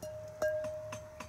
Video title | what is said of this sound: IJzertijdboerderij "De pottenbakker vertelt" | Prachtig mooie klank. En dan weet je ook dat hij heel is. Als hij zo mooi klinkt, dan is hij heel. Er zit er geen scheur in.